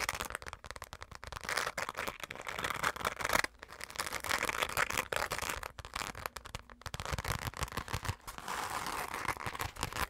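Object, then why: Glitter-coated fabric zipper pouch. Long nails scratch rapidly across a hollow, dark glitter-coated fabric zipper pouch. The result is a dense, crackly, bright rasping with short sharp bursts, broken by a few brief pauses.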